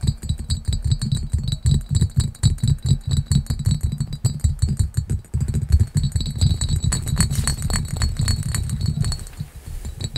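Fingertips and nails rapidly tap and scratch the textured surface of a small, clear, hollow, empty cut glass pitcher with a diamond pattern. The sound is a dense stream of quick, dull, low thumps with faint, bright glassy ringing above. There is a brief pause around the middle before the tapping resumes and softens toward the end.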